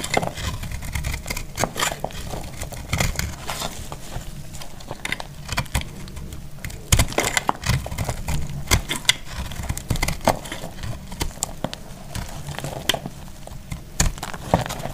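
A hand-held solid bar of dried pink marbled soap is cut with a box-cutter blade, shaving off crisp slices. Repeated sharp, crackly scraping cuts snap out brightly over a steady low rumble, each one dying away almost at once.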